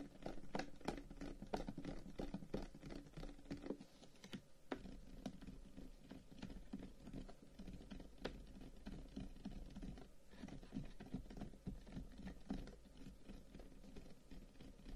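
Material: Wood.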